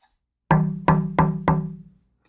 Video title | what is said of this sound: KIM WALKER 03 - Tap Tone Wood | it has more of that dampening effect. Doesn't have quite the sustain